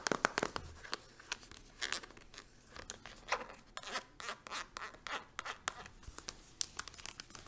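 A green-capped, patterned plastic hand cream tube is held upright and tapped quickly with long acrylic nails. The result is a rapid, uneven series of dry, crisp clicks and light scratchy taps, bright with almost no low end. Each tap stops instantly with no ring.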